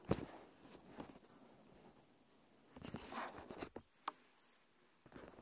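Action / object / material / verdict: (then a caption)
tap / thin plastic film over a handheld recorder / plastic / none. Long dark-painted nails tap and scratch across a thin, flexible, clear plastic protective film stretched over a handheld recorder. Quiet, crisp taps and crinkly, scratchy rustles come in short bursts, separated by near-silent pauses.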